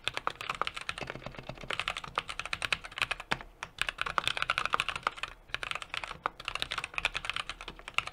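Steady two-handed fingertip typing on a 60% mechanical keyboard with an aluminum case, brass plate and plastic keycaps. It makes a rapid, continuous run of short, crisp clacks, bright and clicky with almost no low-end thump. Each keystroke dies away almost instantly, with only brief pauses in the rhythm.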